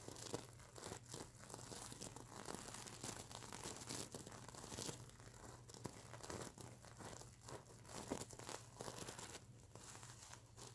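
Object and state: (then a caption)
Plastic sequin pillow being scratched. Fingernails scratch and flip the plastic sequins on a sequin-fabric mermaid unicorn pillow, producing a dense run of crinkly, rasping clicks and brief tearing-like swipes. The bright, dry scraping has almost no ring and sits over a steady low hum.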